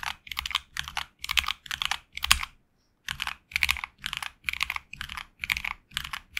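Fingertips type continuously on a HyperX Alloy Origins Core tenkeyless mechanical keyboard with HX Red linear switches and grey and red PBT plastic keycaps, resting on a desk mat. Bursts of quick, bright, clacky key presses come with a soft low thump and stop briefly near the middle before typing resumes.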